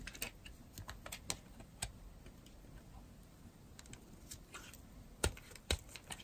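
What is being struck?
Bar of soap scraped with a metal blade.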